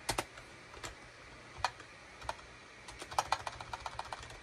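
Fingertips type at a slow, uneven pace on a full-size gray and beige SHIPADOO K600 wired USB keyboard with hollow plastic keycaps. Around seventeen short, dry plastic clacks with bright tops stand out against a faint background hiss, with the taps coming closer together toward the end.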